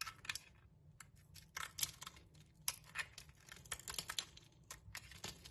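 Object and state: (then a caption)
Striped soap bar being scraped. A metal blade scrapes shavings off a solid striped soap bar held in the hand. A quiet run of short, dry, crisp scraping and crunching bursts, bright and hissy, with a faint low rumble beneath.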